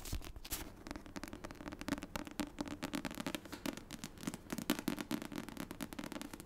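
Long nails tap and scratch the front cardstock cover of a paperback copy of The Secret History, making a dense run of quick, dry clicks and scratchy crackles. The taps are short and bright with no ring, over a low hum around 300 Hz.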